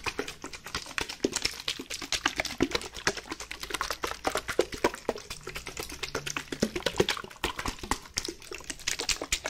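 A white plastic bottle, partly filled with water, is shaken back and forth in a hand. Quick, dense sloshing splashes and light plastic clicks follow one after another in a steady, bright patter, each burst dying away almost at once.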